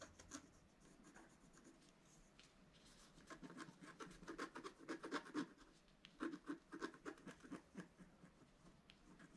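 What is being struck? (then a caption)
Coated scratch art paper card scratched with a wooden stylus. A pointed wooden stylus scratches fine lines into a flat, solid scratch art card, black coating over coloured foil paper about A4 in size, lying on a table. Quiet, dry scratching strokes rasp against the coating, sparse at first, then quicker and louder in the middle, before easing off again.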